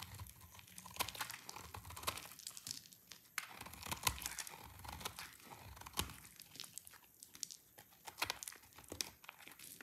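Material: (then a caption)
Soap. A utility knife blade scrapes and shaves a solid, dry white soap bar with a ridged surface, and powdery shavings fall away. The result is a dense run of crisp, bright scraping and crunching strokes, like crinkling, with short sharp bursts that stop almost at once.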